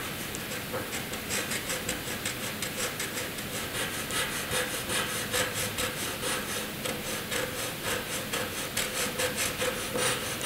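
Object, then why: Graphite pencil on drawing paper. A hand draws a dense zigzag line with a graphite pencil on a sheet of flat white drawing paper. The result is a steady run of bright, rapid scratching strokes with a faint hum near 500 Hz underneath.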